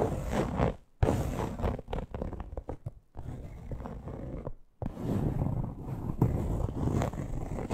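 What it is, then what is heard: Faux leather purse back. Long nails tap and scratch across the plain, smooth teal faux-leather back of a small hollow purse lying on its side. The result is a dense, low, rumbling scratch in steady bursts, with quick taps mixed in and brief pauses near one, three and just under five seconds.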